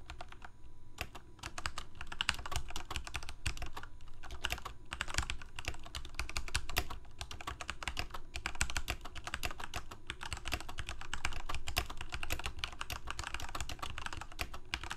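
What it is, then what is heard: Plastic mechanical keyboard. Both hands type rapidly with their fingertips on a full-size black plastic Corsair K68 mechanical keyboard with Cherry MX Red switches and blue backlit keycaps, resting on a white desk. A dense, continuous stream of short, sharp key clacks is heard, with a deep thocky body under brighter clicks. The strokes die away almost instantly, so the burst stays crisp and steady throughout.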